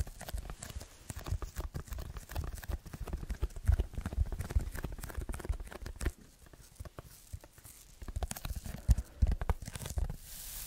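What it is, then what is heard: Foam sheet. Fingertips scratch and tap a red textured foam block held at different angles, making a dense run of soft, dull scratches and low, muffled thuds. The sound thins out and grows quieter midway before the tapping picks back up, and a faint high hiss rises at the very end.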